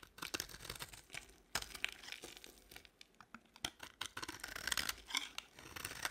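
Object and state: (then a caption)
Dry bar soap. A box-cutter blade scrapes flakes off a solid beige bar of dry soap held in the palm. It makes dense, dry, crackling scrapes and quick crisp ticks, bright and papery with almost no low end. Each stroke ends abruptly with no ring.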